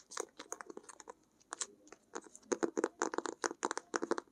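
A closed blue-grey hardcover sketchbook with a textured cloth cover is held in both hands while long acrylic nails tap and scratch its cover. About two dozen short, dry, clicky taps come in quick bursts with a brief pause partway through, each with a mid-toned body and a bright edge and almost no ring. The taps grow louder and denser toward the end.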